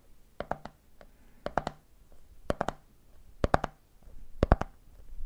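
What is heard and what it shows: Fingertips tap the top of the red plastic lid on a medium clear plastic jar full of peanuts, then fingers tap the side of the jar. Fifteen short, dull taps fall in five quick triplets, each one dying away almost instantly with a faint low, hollow knock.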